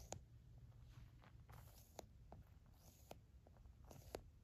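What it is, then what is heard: Squishy gel stress ball. An orange silicone drumstick-like tool taps and presses a hand-sized, solid, green and black spotted squishy stress ball, a soft stretchy rubber skin filled with gel beads, that sits alone on a fluffy rug, squashing it in. Quiet, short, sharp taps with a bright click stand out over soft, low, squishy rustling and faint crackles while the ball is pressed.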